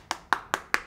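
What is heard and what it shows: Four quick knocks on the body of a counterfeit (HDC) iPhone 11 Pro Max that sold for Rp1.5 million, each a short, dry tap with a midrange click and almost no ring. The knocks sound soft and hollow rather than solid, marking the fake phone's body as hollow compared with a genuine one.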